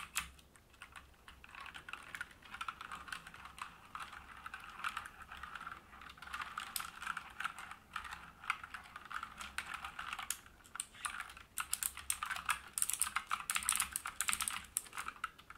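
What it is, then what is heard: Mechanical keyboard being typed on. An AUKEY KM-G3 full-size mechanical gaming keyboard with black plastic keycaps and a brushed metal top plate sits on a wooden desk while both hands type continuously with their fingertips. The result is a dense stream of short, bright key-switch clicks, growing louder and busier toward the end, over a faint steady low hum.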